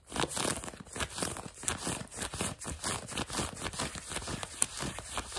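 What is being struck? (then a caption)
Denim jeans fabric. Fingertips and nails quickly scratch and rub blue denim jeans fabric stretched over what appears to be a leg or knee, soft over a solid form. The result is a steady run of dry, crinkly scratching strokes with a bright, hissy texture and little low end.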